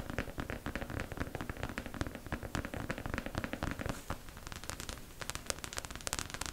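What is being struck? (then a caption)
Plastic mannequin head. Long acrylic nails tap fast on the crown and sides of a beige, likely hollow plastic mannequin head held in both hands. Dozens of quick, dry clicks and light knocks come in an uneven, rapid stream. Each tap is short with a soft low body and no ring.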